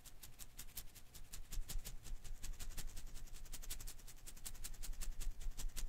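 A hand-sized blue and green rubber-filament Koosh ball is held in one hand while fingertips and nails rub and flick its strands. The result is a quick, uneven stream of soft, bright ticks and crackles over a low, muffled rumble.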